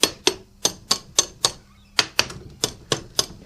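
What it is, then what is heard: Solidified aluminium casting. Tongs tap a freshly poured aluminium alloy casting for a gang tooling block for a small CNC lathe, about twelve sharp, bright metallic ticks with very short ring. The casting sounds better now, showing it has solidified enough to remove and quench in water.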